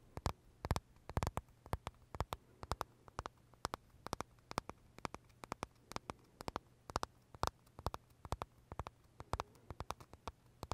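Short fingernails tap and scratch the crisp shell of a large pale green Starbucks pistachio macaron held in both hands. The result is a quiet, irregular stream of dozens of sharp, dry clicks with bright edges, over a faint steady low hum.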